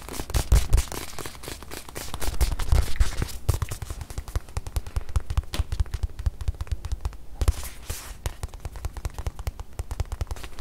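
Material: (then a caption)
Faux leather. Long nails tap fast on a small white padded faux-leather watch pillow held in the hand, giving a dense run of short, dull, low thuds with faint bright clicking on top. The tapping swells louder in bursts early on, then settles into a steady, quieter patter.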